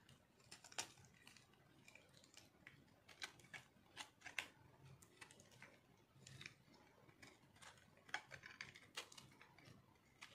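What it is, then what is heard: Dry soap bar scraped with a knife. A metal knife scrapes flakes off a solid pink speckled bar of dry soap held in one hand. The quiet clip is a string of crisp, bright scratching and crunching strokes with short sharp clicks at irregular intervals, each dying away almost at once over a faint low hiss.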